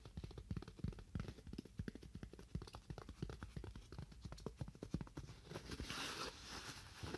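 Fingernails tap continuously on a styrofoam block, producing a rapid, uneven stream of short, dull, hollow knocks with a low, thumpy body. Near the end the taps thin out and a brighter, hissy scratching texture rises briefly.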